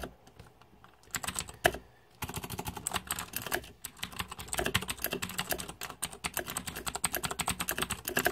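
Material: Plastic.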